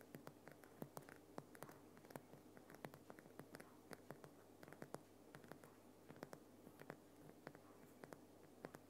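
Fingernails of both hands scratch and tap the rough crystalline surface of a large solid lump of glowing pink Himalayan rock salt lamp. Quiet, dry, crisp clicks and short scratchy rasps come in quick irregular succession over a steady low hum. Each tap dies away almost instantly.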